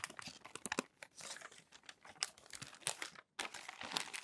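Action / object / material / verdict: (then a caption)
scrape / crumpled glossy magazine paper / glossy paper / none. Fingertips lift, turn and press down the crinkly pages of a thick stack of glossy paper magazine pages, previously crumpled then smoothed, lying on a white desk. Dense, bright crinkling and crackling bursts run throughout, with almost no low end, broken by a brief silent gap just past three seconds before the crackling resumes.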